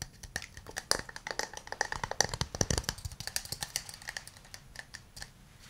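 A small hollow wooden cup, held in both hands, is tapped on its outer surface with fingernails and fingertips. About three dozen quick, dry taps follow in an irregular patter, each a short, bright click with almost no ring.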